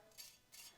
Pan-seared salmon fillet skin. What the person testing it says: you can hear how crispy it is. It's really crispy and beautiful.